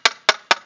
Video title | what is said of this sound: Boat Stringer Inspection | you hear that that sharp clicking sound